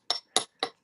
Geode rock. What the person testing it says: it got really Hollow right here and so I drilled into that spot and it opened straight up into a cavity